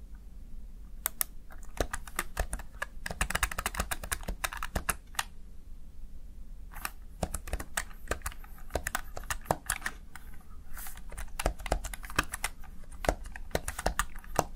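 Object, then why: Plastic gaming keypad. A small backlit plastic Razer Tartarus Chroma gaming keypad with mechanical-style keycaps is pressed and tapped by the fingertips and nails of one hand. Crisp, bright plastic clicks come in uneven runs, with a dense flurry around the middle of the first half, a short lull near six seconds, then steady tapping. Each click dies away almost instantly over a low, steady background hum.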